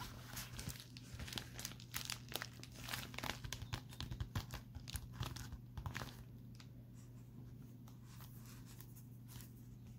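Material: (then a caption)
Metallic foil. Fingertips with short painted nails tap and scratch a pink metallic foil bubble mailer lying on a table, producing quick, bright crinkling clicks and scratchy rustles over a steady low hum. After about six seconds the tapping stops, leaving only the quiet low hum and faint hiss.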